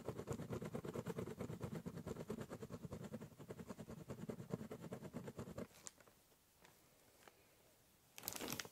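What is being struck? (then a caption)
Ballpoint pen on corrugated cardboard box. A ballpoint pen draws lines across the top surface of a large, hollow, brown corrugated cardboard box, making rapid, scratchy back-and-forth strokes with a dull, boxy low resonance. After about six seconds the scribbling stops, leaving a quiet gap with a few faint ticks, then a short bright scratching burst near the end.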